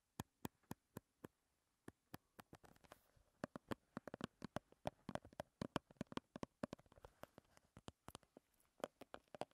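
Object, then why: Small plastic squeeze tube with cap. Long red nails tap and scratch on a small plastic BB cream squeeze tube with a white plastic cap as it is held. Quiet, sharp, dry plastic clicks come in an even rhythm at first, then crowd into quicker runs of tapping mixed with soft scratchy rustling. Each tap dies away almost instantly.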